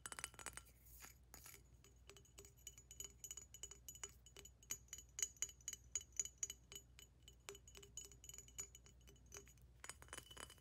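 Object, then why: Thick glass water pipe. Long nails tap rapidly on a large hollow glass water pipe with a thick green glass base and a decorated tube, striking the base, the bottom and the tube. The result is a quick, quiet run of bright glassy clinks with a high, thin ring over a faint low hum.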